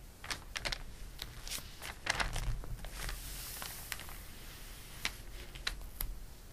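A hand turns the pages of an open glossy paper catalog lying flat, with fingertips brushing across the paper. Short, crisp, bright ticks and crinkly rustles stand out over a soft, steady low hum, each sound dying away almost instantly.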